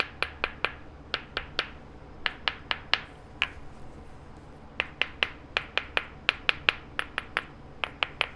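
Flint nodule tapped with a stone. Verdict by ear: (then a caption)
Solid. A large, heavy, dense Cretaceous flint nodule of dark brown, slightly translucent stone is tapped 26 times with a rock to check for internal cracks. Each tap is a sharp, bright click with a very short ring centered near 2.4 kHz, coming in quick groups with brief pauses between them. The nodule sounds solid, with a good ring all the way through.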